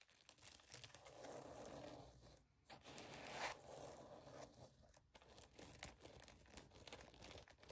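Long pink acrylic nails scratch and tap a rose-gold Minnie-style mouse-ear headband lying on a woven blanket, working over its glitter-coated ears, sequin fabric bow and padded band. The result is soft, crinkly scratching with a bright rustling texture, broken by quick, irregular light taps.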